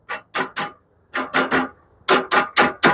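Ten sharp metallic clicks in three quick groups ring briefly and brightly around 1 kHz as the steel band of a bandsaw blade is tapped near the upper blade guide on a Norwood HD36v2 sawmill head, checking up-and-down clearance. The click shows there is clearance on the upper side.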